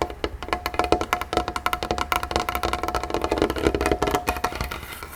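Fingertips tap rapidly on a cheap wooden dinner tray table that has just been cleaned of wax. The clip is a quick run of short, dry, hollow knocks with a woody midrange tone and very little ring.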